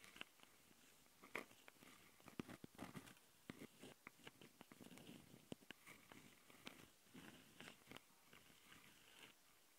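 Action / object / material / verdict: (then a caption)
scrape / plastic handheld recorder with metal-mesh microphone grilles / plastic, metal mesh / none. Long painted nails on both hands scratch the two X/Y mic capsules of a small, hollow black plastic Tascam handheld recorder, with metal-mesh grilles and red rings. The result is a quiet, close-up stream of dry scratching and crackly rasps, broken by sharp, bright clicks and brief louder bursts that stop almost at once.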